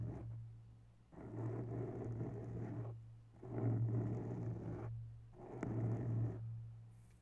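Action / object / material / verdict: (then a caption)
scrape / foam microphone windscreen / foam / none. Bare long nails quickly scratch the sides of a grey foam microphone windscreen. Three separate bursts of dense, muffled rustling and crackling rise and fade over a steady low hum. Soft pauses fall between the bursts.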